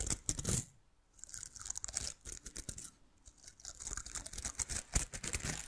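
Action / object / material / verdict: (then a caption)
scrape / miniature plastic bottle-brush tree / plastic / none. A small artificial bottle-brush miniature Christmas tree with green plastic bristles is held in one hand while fingertips and nails scratch and brush the bristles close to the microphone. The result is dense, crackly, bright scratching in quick bursts with brief quiet pauses between.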